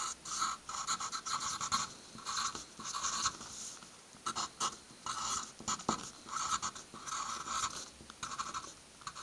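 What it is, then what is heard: Pencil writing on a paper stack. A hand draws and writes doodles, such as stars and words, with the graphite tip of a red wooden pencil on a stack of white paper sheets resting on a wooden table. Bursts of dry, bright scratching rise and fall with each stroke, with short quiet gaps between them.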